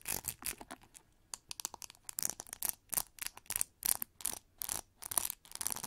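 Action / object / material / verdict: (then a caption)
scrape / plastic paddle hair brush with metal pins / plastic / none. A pink plastic paddle brush with metal pins lies on its hollow back while long nails scratch across its pins and textured plastic back. A rapid series of short, dry, bright scratching strokes is heard, with brief gaps between them and almost no ring.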